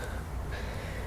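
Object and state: Nothing is struck.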